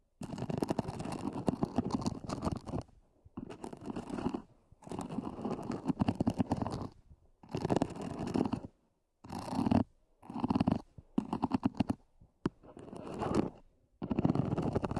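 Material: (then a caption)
EVA plastic. Long nails scratch the lid of a small, black, hollow, zippered EVA hard-shell earphone case. The scratching comes in dense, crackly bursts separated by brief silences, with a hollow, low-mid body that gives it a rumbling texture.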